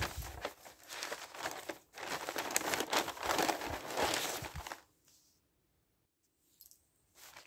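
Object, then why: Newsprint newspaper pages. Thin newsprint pages of a newspaper are lifted and flipped over by hand, giving a dense, bright crinkling rustle for about five seconds. The sound then drops to near silence, with only a few faint, brief rustles of the same paper near the end.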